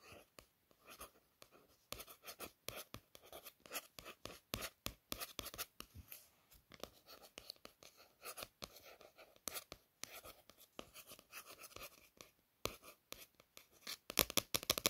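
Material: Paper.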